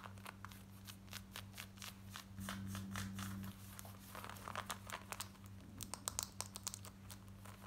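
Long nails scratch quickly over worn light grey denim jeans, moving across the back pocket, waistband and front. Short, rough, bright scratching strokes come about four times a second, uneven in rhythm, over a steady low hum. A few sharper, louder strokes stand out near the end.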